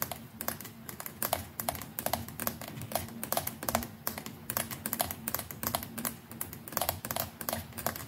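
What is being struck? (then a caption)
Plastic electric toothbrush. Long nails rapidly tap the hollow plastic neck of a white plastic electric toothbrush near the brush head, producing quick, bright, keyboard-like clicks in an uneven stream. A faint, steady low tone hums underneath the clicking throughout.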